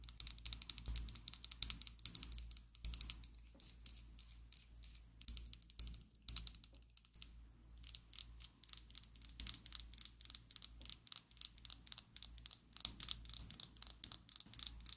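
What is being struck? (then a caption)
Plastic liquid lipstick tube. Long acrylic nails rapidly tap a slim pink and black plastic Essence liquid lipstick tube held above a table. The result is a fast, uneven stream of dry, bright clicks that stop instantly with no ring, over a faint steady low hum.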